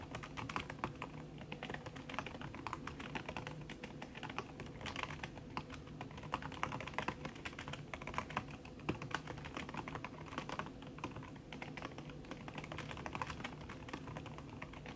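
Fingertips with long red nails type fast on a backlit aluminium laptop keyboard whose plastic keys sit under a red silicone skin. The result is a steady, dense stream of short, muffled key clicks with soft tapping bursts over a faint low hum. There is no talking.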